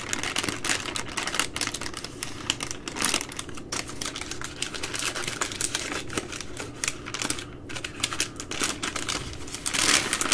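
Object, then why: Soft plastic wipe packs in plastic wrap. Long green nails tap and crinkle a plastic-wrapped baby wipes multipack, a bundle of three full soft plastic wipe packs held up in both hands. The result is a dense, continuous stream of quick, bright clicks and crackles with short decays, rising into a brighter, louder crinkle near the end.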